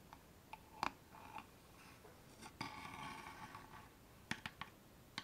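A small, closed wooden box with a distressed brown finish and a metal latch on the front, hollow and empty, is held in both hands and tapped and scratched on its sides and front with long painted fingernails. Quiet, sharp, clicky taps with bright edges and a light hollow tone stop almost at once. A soft, grainy scratching fills the stretch between them.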